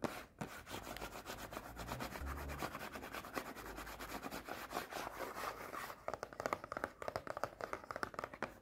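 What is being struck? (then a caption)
Small closed cardboard snack box. Long painted nails rub, scratch and tap across the surfaces and edges of a small, closed cardboard Pocky snack box. A dense, fast papery scratching fills the first six seconds, then gives way to quicker, sharper dry taps with a midrange knock and almost no ring.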